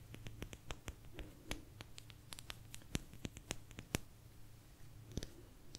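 A small, thin, solid blue agate slice is tapped with long nails, giving a quick, irregular series of sharp, dry clicks with bright tops that stop almost instantly. The taps are quiet and sit over a steady low hum.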